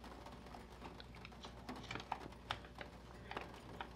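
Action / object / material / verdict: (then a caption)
tap / printed paper catalog pages on a wooden table / paper / none. Fingertips tap the printed page of an open vintage paper catalog, more than 50 years old, resting on a wooden table. Soft, dry taps patter irregularly with a few sharper clicks standing out, each ending almost instantly over a low, steady background hum.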